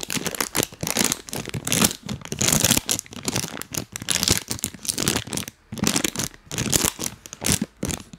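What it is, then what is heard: Plastic snack bag crinkled and tapped. A full, printed plastic cookie bag is held close to the mic, crinkled and tapped with rubber toy hands. Bright, crunchy crinkles and rustles come in irregular bursts with short pauses between them. Each burst cuts off quickly with almost no ring.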